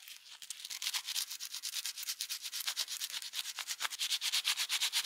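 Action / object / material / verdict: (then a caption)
scrape / steel plier half rubbed with sandpaper / steel / none. Gloved fingers rub folded sandpaper back and forth over a solid steel plier half held in a vise, in rapid sanding strokes. Around three dozen short, dry, bright scratching hisses follow one another with almost no low end, growing slightly louder and more even toward the end.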